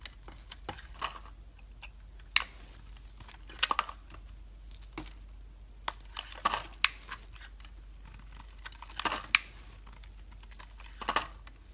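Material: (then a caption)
Soap. A metal utility blade scrapes along a solid white bar of soap held in the hand, shaving off flakes. Short, crisp, crunchy scrapes come in scattered bursts, bright and dry with almost no ring, over a faint low background hum.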